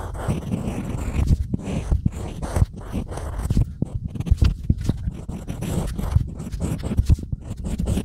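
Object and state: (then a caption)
Unfired clay tile being scratched. A pointed stylus scratches letters into a small, flat, solid slab of grey-painted unfired pottery clay, then a sponge brushes the crumbs away. The sound is a dense series of short, dry, low scraping strokes and gritty scratches with no ring.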